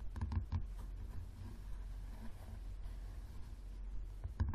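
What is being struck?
Paperback book, paper cover.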